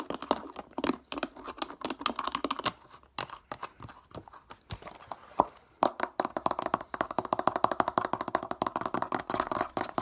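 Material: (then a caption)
Plastic. A clear PET plastic water bottle with a black ridged plastic cap is held in the hands while the cap is twisted and its ridges are scratched with fingertips and nails. Rapid, dry clicks and scratchy ticks centered around 1 kHz, with bright edges, come in quick bursts. They ease into sparser taps mid-clip, then return as a dense, fast run to the end.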